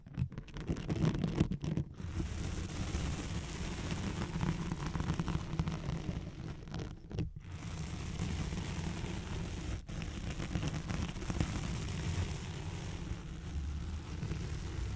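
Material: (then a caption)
Nylon. Long nails slowly scratch a thin white hook-side nylon hook-and-loop velcro sheet laid over a microphone. The result is a steady, dense, low-heavy rustling scrape with muffled crackle, broken only by brief gaps near 2, 7 and 10 seconds.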